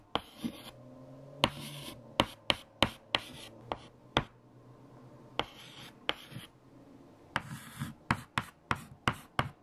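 Fingertips hold a stick of white chalk and write equations on a large, flat black chalkboard. Sharp chalk taps and short bright, scratchy strokes come in irregular bursts over a quiet, low background hum.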